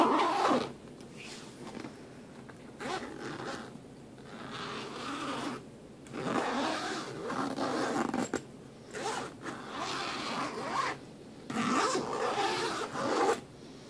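A hand quickly slides the metal zipper along the seam of the front pocket on a black fabric suitcase, over and over. Each pull makes a raspy, ratcheting zip centered in the mid range around 1 kHz with some bright edge. Short quiet gaps separate the runs.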